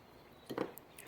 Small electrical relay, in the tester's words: first off you can hear there's no noise